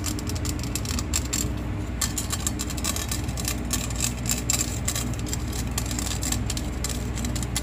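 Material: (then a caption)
Stainless steel. Long painted fingernails quickly scratch and tap over the perforated grating surface of a hollow stainless steel box grater held close up. The result is a dense stream of rapid, bright scraping ticks and rattles with a high metallic edge, laid over a steady low rumble.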